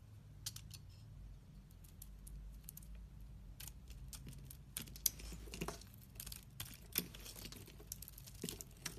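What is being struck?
Bar of soap scraped with a blade.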